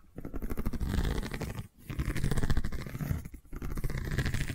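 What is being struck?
Woven seagrass tube.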